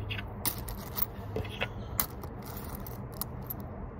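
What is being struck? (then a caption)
Small leather zipper coin purse with coins inside. Fingertips and short nails scratch and rub the surface of a small, fish-shaped tan leather coin purse with yellow zigzag stitching and a zipper, held in the hands, while coins inside seem to shift. Soft, steady scratching sits over a low rumble, broken by sharp, bright clicks and taps that fade almost instantly.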